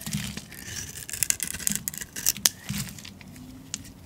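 A metal utility blade scrapes shavings off the face of a solid green rectangular bar of olive oil soap held in the hand. A run of crisp, bright scraping strokes and sharp ticks rises over a soft low rumble, then eases into quieter rasping near the end.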